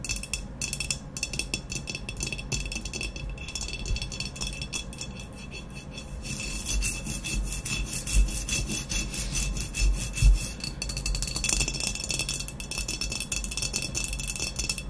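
Long natural nails quickly tap and scratch the sides of an upright, hollow ceramic vase with a black textured matte glaze, about 25 cm tall, standing on a white cloth. The sound is a dense, uneven stream of dry scraping and ticking with a bright, hissy edge over a steady low hum. It grows busier and louder after the midpoint, with a few sharper taps standing out.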